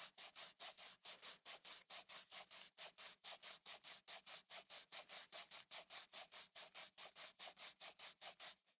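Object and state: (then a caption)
Glass and aluminum smartphone. Fingertips rub back and forth across the glass back of a small black third-generation iPhone SE with an aluminum frame, held in the other hand. About 40 quick, evenly paced strokes make soft, bright, hissing swishes with almost no low end, each cutting off sharply.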